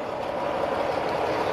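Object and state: Nothing is struck.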